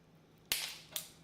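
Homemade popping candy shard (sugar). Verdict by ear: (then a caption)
Charged. A shard of homemade Pop Rocks sugar candy is dropped on the ground and bursts with two sharp, bright, cap-gun-like pops about half a second apart, each fading quickly. The shard flies off, showing it is strongly charged with trapped gas, and it is judged possibly unsafe to eat.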